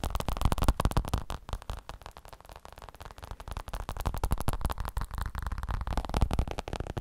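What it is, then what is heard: Fabric elbow support. A fabric elbow support is tapped with quick, continuous taps that make dull, muffled thuds, mostly low in pitch and with almost no ring. The tapping is loudest at the start, eases off in the middle, then picks back up toward the end.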